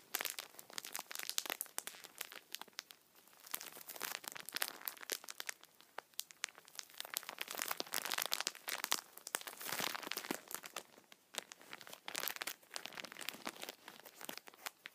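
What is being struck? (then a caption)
Tissue multipack in plastic film. A plastic-wrapped tissue multipack is squeezed with both hands and rubbed with fingertips, crinkling the film. Dense, bright crackles come in bursts across the clip, with no low end and almost no ring after each snap.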